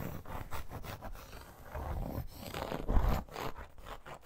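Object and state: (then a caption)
Faux leather bracer, scratched. Long nails scratch across the textured surface of a red embossed faux crocodile leather wrist guard, or bracer. The result is a run of quick, rough scraping strokes with a dull, mostly low rasp that swells louder near the end.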